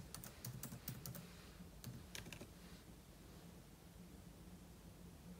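A single fingertip slowly taps the plastic keys of a silver aluminum laptop, with an open book lying untouched beside it. Short, bright key clicks come in an uneven cluster over the first couple of seconds, then fade to a faint, steady low hum for the rest of the clip.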